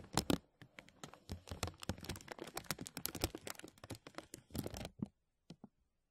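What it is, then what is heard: Thin plastic bag crinkling. Fingertips pinch and rub a thin translucent plastic bag stretched over a mesh microphone, producing dense, rapid crinkles and crackles that reach into the bright highs. The crinkling runs for about five seconds, then two faint, isolated crinkles follow before it falls silent.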